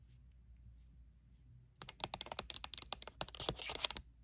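Long nail tips tap rapidly on the top face of a pink rectangular plastic lotion bottle, seen from its pump end. After nearly two seconds of near-silence, a quick run of about seventeen sharp, bright clicks follows, each dying away almost instantly, before it falls quiet again.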